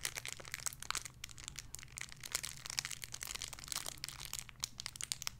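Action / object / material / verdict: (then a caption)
scrape / thin plastic bag with soft foam toy inside / plastic / none. A small clear plastic bag holding a pink pig squishy toy is crinkled and squished with fingertips and nails. A dense, continuous run of bright, crisp crackles and crinkles with quick snapping peaks sits over a faint, steady low hum.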